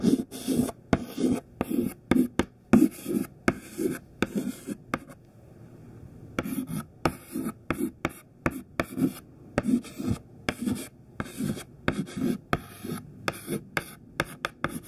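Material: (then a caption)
Chalk. A small, thin white classroom chalk stick, pinched in the fingertips, writes on a black chalkboard in quick scratching and tapping strokes. Short, dry bursts with bright scratchy edges repeat steadily, broken by a brief quiet pause near the middle before the writing resumes.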